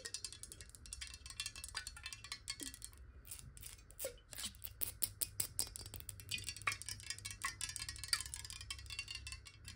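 Long nails tap rapidly on a clear square glass bottle partly filled with water, first held sideways and then upright. The taps are quick, bright, glassy clicks with very short ringing, over a faint low hum.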